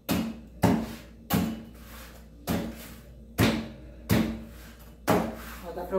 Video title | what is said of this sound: NOSSO FORNO NOVO - FORNO PAULISTANO I PIZZARIA DELIVERY #126 | dá pra ouvir que ela tá crocante?